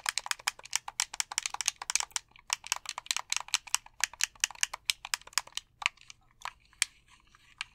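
A white plastic gamepad has its buttons tapped and clicked with thumbs and fingertips. It makes a rapid run of short, dry, bright clicks with no low end, pausing briefly after about two seconds. The clicks then thin out into scattered taps toward the end.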